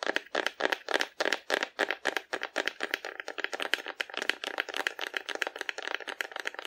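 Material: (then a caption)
Cardboard. Long nails tap quickly and unevenly on the body of a hollow painted cardboard dinosaur held sideways in both hands. The taps are dry, short clicks with a papery midrange tone and bright edges, and almost no low end. They are spaced apart at first, then come faster and softer.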